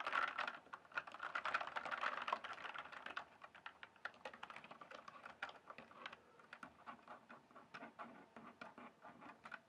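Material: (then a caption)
Plastic. Fingertips type rapidly on a full-size RGB-backlit plastic mechanical computer keyboard, its hollow keys sitting on a solid base. A dense flurry of bright, pattering clicks fills the first three seconds, then thins into quicker separate taps that stay sharp and short, with almost no low end.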